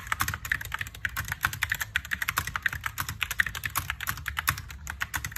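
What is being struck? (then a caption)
Mechanical keyboard with plastic keycaps. Fingertips type steadily on a compact mechanical keyboard with white and pink plastic keycaps, producing a fast, continuous run of short, crisp clicks. Each keystroke is sharp and very brief, with a bright clatter centered around 2 kHz over a soft low thump.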